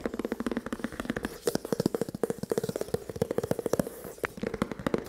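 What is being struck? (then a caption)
Printed cardboard box. Fingertips and nails tap and scratch across the face of a long, printed cardboard rifle scope box, closed with the scope inside. About 38 quick, dry taps ring out in a rapid, uneven run, each with a hollow, boxy tone centered low around 200 to 500 Hz and dying away almost instantly, with faint scratching between them.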